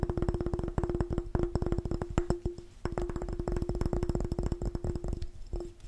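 A glass jar is tapped fast and aggressively with a rapid, continuous run of short, dull knocks. The taps carry a steady ringing tone near 350 Hz that dies away quickly. The sound is weighted toward the low end, with almost no high-frequency content.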